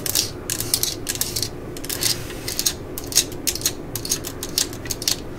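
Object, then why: Plastic cordless drill body and ribbed clutch collar. A yellow and black plastic cordless drill/driver body is held in hand while long glitter nails scratch and tap the housing and turn the ribbed clutch collar. Quick bursts of bright, dry ratcheting clicks and scratches come in uneven clusters over a faint steady low hum.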